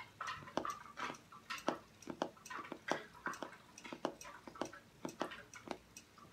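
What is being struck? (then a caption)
Cardboard hardcover journal. Fingernails tap and scratch the front cover of a closed, book-sized, solid hardcover journal with cardboard covers, grey-and-white stripes and gold lettering, held upright on a wooden table. Quick, dry clicks with almost no ring mix with soft, bright scratching in a steady, irregular rhythm.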